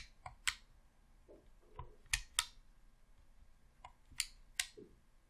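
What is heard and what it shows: A thumb clicks and presses the left thumbstick and buttons on a hollow red plastic Xbox controller. Six sharp, bright, dry clicks stand out, with softer taps and faint plastic rubbing between them, each click dying away almost instantly.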